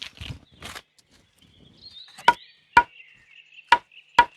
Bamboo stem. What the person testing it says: เฮาต้องได้ฟังเสียงมันมีน้ำบ่ต้องไปเคาะ